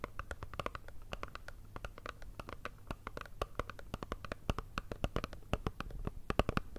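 A small, hollow, rectangular black Chanel cardboard perfume box, held in both hands, is tapped and scratched with long red nails. The result is a quick, irregular run of dry, hollow clicks and papery scratches that stop short, over a faint low hum.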